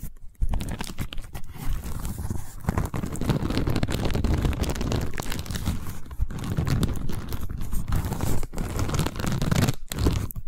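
A long cylindrical tube covered in a woven seagrass or straw weave is held horizontally and scratched and tapped with long nails along the weave. The result is a dense, continuous crackling and rustling scratch, heavy in the low end, with quick taps and a few brief pauses.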